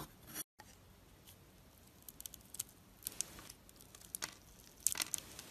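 An oval bar of solid soap with a gold surface scored in a grid is held in the palm while a knife blade cuts into it and pops off small soap cubes. Quiet, bright, crisp snaps and crackly scraping ticks come in scattered bursts over a soft hiss, with a brief dropout near the start. The snaps grow denser toward the end.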